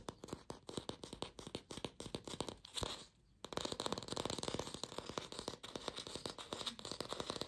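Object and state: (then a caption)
Fake plastic apple. A glossy red artificial apple, likely hollow plastic, is held in the hands and fast-tapped and scratched with long pink fingernails. Rapid, crisp clicking taps blend with a bright, scratchy rasp, pausing briefly near the three-second mark before the dense tapping resumes to the end.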